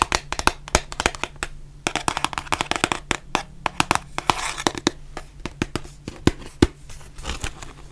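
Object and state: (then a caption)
Cardboard mask box tapped with nails. Long nails tap rapidly across the front and sides of a white printed cardboard face mask box, making many sharp, dry clicks and taps. The taps come in quick irregular runs, each decaying at once, with bright crinkly highs over a faint steady low hum.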